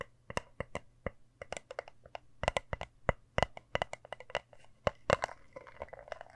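A small, round, hand-sized compact with a hammered, shiny copper-toned metal surface is tapped and scratched with long nails. A quick, irregular run of sharp, bright clicks and ticks dies away almost instantly, with brief scratchy textures in between and a faint low hum underneath.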